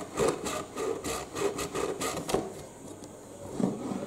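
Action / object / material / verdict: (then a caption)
scrape / cardboard box / cardboard / none. Short nails scratch and tap on a hollow, medium-sized printed cardboard UPS box, first on its green end flap and then on its printed front panel. About six dull, papery taps carry a hollow midrange body and brushy scratching between them. Each one dies away almost at once.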